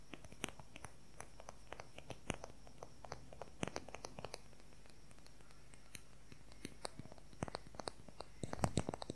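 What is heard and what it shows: Fingernails tap quickly along the shaft of a long wooden colored pencil. The result is a quiet stream of short, sharp clicks with a faint low hum underneath. The taps come in uneven bursts and cluster more densely near the end.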